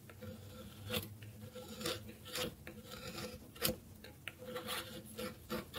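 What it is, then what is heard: Dry bar soap being scraped. A solid bar of dry soap held on a wooden board has its edge scraped with a metal blade. The result is a steady, rasping scrape with repeated louder, bright strokes over a faint tonal hum.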